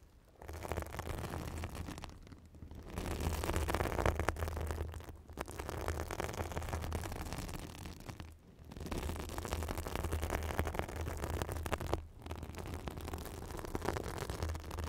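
A white fibrous synthetic bath sponge held over a microphone is scratched and squeezed with long acrylic nails. It makes a dense, crackling, scratchy rustle over a heavy low rumble, coming in long sustained bursts separated by brief quiet gaps.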